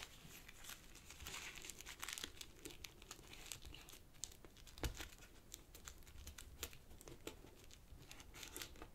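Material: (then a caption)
Paper. Fingertips fold and crinkle a small folded sheet of purple origami paper on a black cloth table and rub along its creases. The result is soft, continuous paper crinkling and rustling, broken by many short, bright crackles and a few sharper snaps, all at a quiet level with a low rumble underneath.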